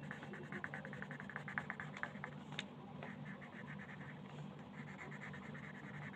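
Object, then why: Wooden colored pencil scratching a paper sheet. A wooden colored pencil held in the fingers scratches and rubs over a thin printed paper coloring page lying flat on a table. Quick, irregular scratchy strokes come first, then settle into a steadier, softer rubbing over a faint low hum.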